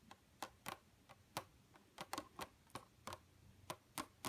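Two hands with long, pointed, pink-red painted nails tap the nail tips rapidly against a flat, dark computer monitor screen. The result is an irregular series of sharp, dry clicks, each with a bright edge, a tone around 1 kHz, and almost no ring. The clicks sit over a quiet, faint background.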